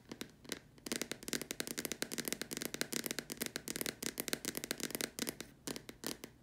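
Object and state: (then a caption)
Plastic lamp shade. Long dark nails tap rapidly across the top and sides of a large, hollow white plastic dome lamp shade. The taps come as a dense run of sharp, dry clicks, bright with almost no low end, and each one stops at once with no ring.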